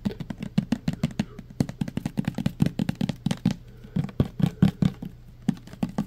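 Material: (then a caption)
Plastic. Fingertips and nails tap quickly on the body of a clear plastic pump bottle filled with green liquid soap. The result is a rapid, uneven run of short, dull, low taps with almost no ring, broken by a brief quieter gap partway through.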